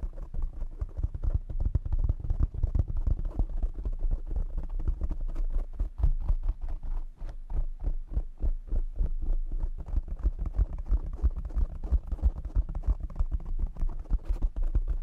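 Fingertips tap rapidly on a black foam windscreen covered over a desk microphone. The result is a dense, uneven stream of dull, boomy low thumps with almost no high content. Each tap dies away almost instantly.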